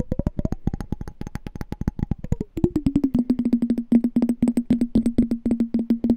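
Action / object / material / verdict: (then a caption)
tap / small glass jar with water inside / glass / none. Fingertips and nails tap and scratch the walls of a small, hollow, clear glass candy jar with a pink label and a pink-and-white checked lid, partly filled with water and held in the hands. Rapid, dry little clicks each carry a short glassy ring whose pitch climbs, then slides down to a lower, steady tone that repeats through the rest of the clip, with faint high ticks above.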